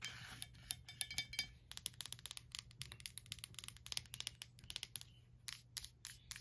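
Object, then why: Wax-filled glass candle jar. Long black nails tap and scratch the glass side of a small, lit glass candle jar filled with wax, with a paper label, standing on a white stand. A quick run of sharp, bright clicks with almost no ring sounds over a faint low hum, with some light scratching between the taps.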